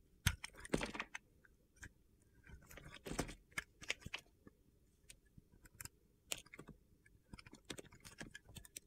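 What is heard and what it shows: A box-cutter blade shaves and slices thin chips off a solid mint green soap bar held in the hand. Short, crisp, gritty scraping and cutting bursts come at an irregular pace, some single and some in quick runs, with soft pauses between them.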